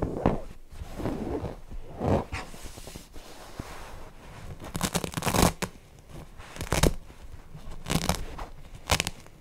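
Fingernails scratch the cotton fabric and seam of a stuffed cotton owl cushion, first on the front side and then on the back. The result is a soft, dry scratching and rustling that comes in uneven bursts with a muffled low body. Sharper, brighter scrapes stand out near the middle and end.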